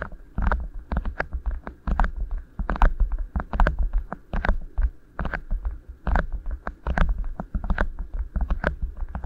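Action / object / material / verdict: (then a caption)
scrape / beeswax-coated cotton wrap / waxed cotton / none. Fingertips squeeze and rub two rolled beeswax-coated cotton wraps, thin waxy fabric, sitting over microphone capsules. The result is an irregular stream of soft crinkling crackles and sticky rubbing bursts over a heavy, muffled low-end thump and rumble.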